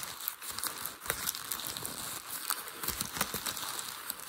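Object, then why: Crumpled packing paper. Fingers press and crinkle the folds of loosely crumpled grey packing paper that forms a hollow mound. The result is a steady, bright crinkling texture with little low end, broken by sharp, quick crackles that stand out above the rustle.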